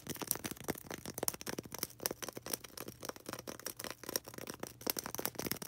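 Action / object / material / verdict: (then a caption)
scrape / polystyrene foam ball / polystyrene foam / none. A small, solid white polystyrene foam ball, held in the hands, is scratched and tapped quickly with long red acrylic nails. The result is a dense run of dry, clicky taps and squeaky, bright scratches with almost no ring, and little low end.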